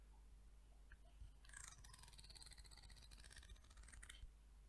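A solid, curved peach wood comb is held by the handle while long nails strum and scratch its teeth, with some knuckle tapping on the comb. A low hum sits under quiet, scattered ticks before a dense run of bright, crackly strums and scratches fills the middle and end of the clip.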